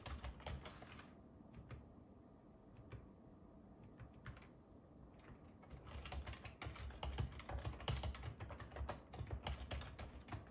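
Fingertips type on a black ergonomic plastic computer keyboard with a hollow body and keys, resting on a wooden table, producing repeated key taps throughout. The taps are low, dull and clicky with a short decay, sparse and soft in the first half, then quicker and louder from about six seconds on.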